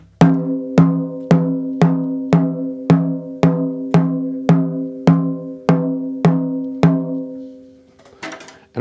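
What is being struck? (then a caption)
Snare drum with coated plastic head and metal shell. A wooden drumstick taps 13 times on the white coated Evans head of a 6.5 x 14-inch, 8-lug snare drum with a shiny chrome metal shell, while cymbals sit nearby unstruck. Each even stroke gives a sharp attack and a pitched, ringing low-mid tone that decays in about a quarter second. A brief scuffling noise follows at the end.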